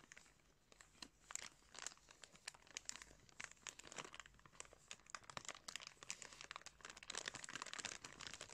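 Fingertips crinkle a thin clear plastic bag wrapped around blue sunglasses, held near the camera. The result is a steady run of soft, dense crackles and crinkles, bright and airy with almost no low end. Each crackle snaps off instantly, swelling slightly louder toward the end.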